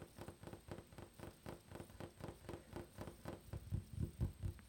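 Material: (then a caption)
Wood. Fingertips and nails tap rapidly on a flat, solid, dark wooden tabletop with visible grain. About four dull, low, woody knocks per second, each dying away almost at once. The taps grow louder and heavier toward the end.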